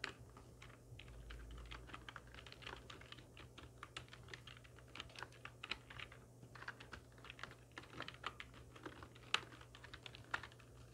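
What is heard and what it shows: Long nails and fingertips of both hands type steadily on a full-size black plastic computer keyboard with hollow keys resting on a wooden desk. The result is a quiet, continuous stream of short, bright, clacky key taps with no ring, over a faint steady low hum.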